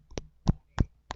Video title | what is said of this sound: I`ve got some Cacao pods. Can I make chocolate from it? | the snapping or the kind of hollow sound of it